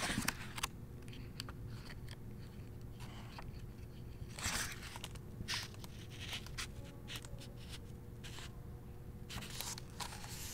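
Fingertips with painted nails open a hardcover novel and turn and brush its paper pages. Soft, bright swishes and brushing rustles rise and fade over a quiet, steady low hum throughout.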